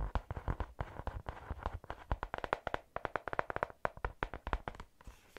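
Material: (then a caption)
Cardboard. A medium pink hardcover "Take note" notebook, with a solid card- or paper-covered cover, is held close and tapped rapidly with long acrylic nails that have paper clips attached. The result is a fast, uneven run of short, dry taps, each a soft low thud with a mid-range click around 630 Hz and almost no ring. The pace is irregular, with brief pauses between bursts.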